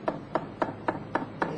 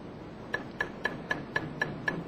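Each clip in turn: First: Six even taps give a papery mid-pitched drumming, the sign of a marble panel hollow behind. Second: Eight quick, even taps give short, bright clicks near 1.7 kHz; the cement-bonded marble panel sounds solid.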